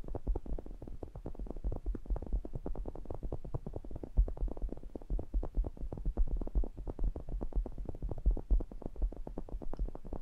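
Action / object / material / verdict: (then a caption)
tap / metal condenser microphone grille / metal / none. Fingertips tap and rub the mesh grilles and metal rims of a pair of small cylindrical metal pencil condenser microphones. The result is a dense, rapid stream of short, dull thumps, heavy in low bass around 59 Hz, each dying away almost instantly, with faint scratchy rubbing in between and almost no bright content.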